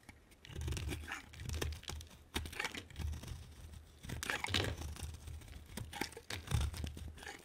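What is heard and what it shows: A solid pink bar of soap, held in the hand, is carved with a metal knife blade that scrapes off thick pink shavings. Repeated crunchy, tearing scrapes come in close strokes, each with a low dull body and a bright crackling edge.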